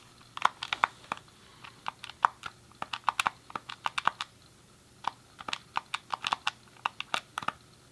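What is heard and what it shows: A grey, hollow plastic SNES controller is held in both hands while fingertips press and click its colored face buttons and D-pad. About thirty short, dry plastic clicks come in uneven bursts with a brief pause near the middle. Each click is quiet and centered in the midrange with bright tops and no low end, and dies away almost instantly.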